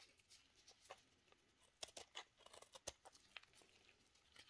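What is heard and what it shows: A steel knife shaves the face of a solid pink soap cube held in a black-gloved hand, sending flakes falling. Quiet, bright scraping crackles and short, sharp ticks come in uneven bursts, each dying away almost instantly.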